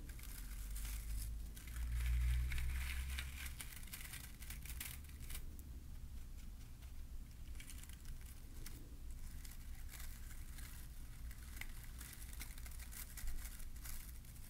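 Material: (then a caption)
Plastic. Fingers squeeze and rub the plastic bristles of a small green glittery bottle-brush Christmas tree on a wooden base. The result is a steady, close crinkling and scratchy rustle with bright crackly detail over a constant low rumble. The rustle swells briefly around two seconds in, then continues at an even level.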